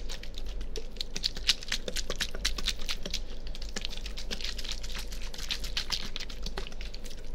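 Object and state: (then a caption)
Plastic water bottle being crinkled. A small, clear, partly filled plastic water bottle with a label is held by hand next to a binaural microphone and squeezed and crinkled with the fingers. Rapid, dense, bright crackling clicks run continuously over a steady low hum.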